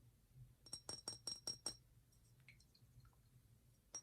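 A simple, elegant glass perfume bottle holding clear fluid is handled and tapped, giving a quick run of six bright, high glassy clinks. Faint small clicks follow, then one more tap at the end. Each tap is short and ringing, with almost no low end.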